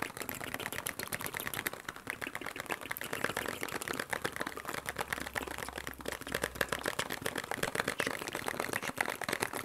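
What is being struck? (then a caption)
Small cardboard box. A small, hollow printed cardboard medicine box with a blue and white shield-and-cross logo is held in both hands and tapped fast with fingertips and nails. The result is a dense, steady stream of dry, papery clicks and taps that stop almost instantly, with a bright crisp edge and very little low end.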